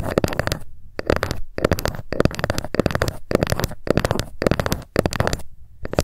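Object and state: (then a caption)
Wooden ruler. Long acrylic nails tap rapidly along the top edge of a long, thin, flat, solid wooden (bamboo-like) ruler lying on a fluffy mat. The clicky taps come in quick bursts separated by brief pauses, each tap short and dry with almost no ring.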